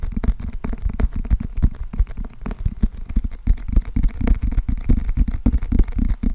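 Fingernails tap rapidly on the glossy cardboard cover of a closed paperback book with a green spine, held close to the microphone. The taps come as quick, irregular, dull knocks with almost all their weight in the low end, each dying away almost instantly.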